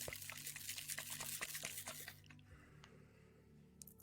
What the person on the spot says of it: it has little bits of clear quartz. You can hear it if I shake it.